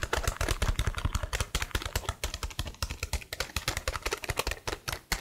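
Long blue nails type and tap rapidly on the keys of a detached black plastic laptop keyboard held at a tilt. The result is a dense, uneven stream of short clicky taps, each with a soft low thump and a bright plastic click that dies away almost instantly.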